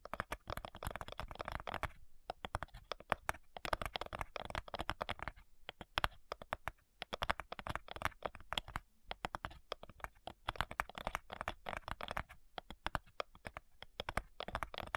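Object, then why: Thin wooden cigar box. Long nails tap rapidly on the front side of a flat, light, hollow wooden cigar box. The result is a dense stream of short, dry, clicky taps with a hollow midrange tone, broken by brief pauses before the tapping resumes.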